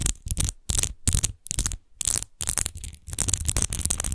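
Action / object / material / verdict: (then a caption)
scrape / empty glass wine bottle with an embossed textured base / glass / none. An empty glass wine bottle lying on its side is scratched quickly with long nails over its embossed, textured glass base. The result is bursts of bright, gritty scratching with a low rumble underneath, separated by short silences.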